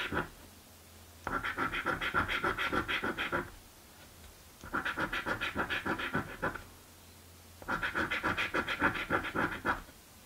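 A coin held in the fingertips scratches the coating off a blue paper scratch lottery ticket resting on a dark table. Bursts of rapid, gritty back-and-forth scraping with a bright rasp alternate with short quiet pauses.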